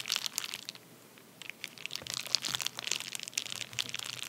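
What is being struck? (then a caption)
Padded paper bubble mailer. A medium white padded paper bubble mailer, torn open and lying flat on a towel, is rubbed and pressed with the fingertips and short nails of both hands. It gives dense, bright crinkling and crunching bursts, with a brief near-silent pause early on before the crackling resumes and continues to the end.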